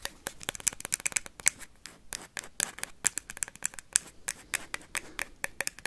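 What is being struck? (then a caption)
Plastic ping pong ball. A hollow plastic ping pong ball is tapped and scratched rapidly with paperclips. Around thirty sharp, bright clicks come with very little low end, mixed with light scratching over about six seconds.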